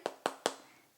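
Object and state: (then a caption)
Crispy roast pork skin. Three sharp, hollow taps on the golden skin of an oven-roasted pork shoulder, each a brief crisp click with a bright edge that dies away almost at once. The skin sounds hard and very crispy, like cookies, over well-cooked, juicy meat.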